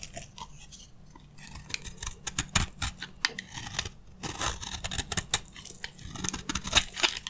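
A metal utility blade shaves and scrapes crunchy curls from the surface of a solid, dry green soap bar held in the hand. Rapid, irregular dry crackles and scratchy crunches follow one another with no steady rhythm. Each one is bright and short, with almost no ring.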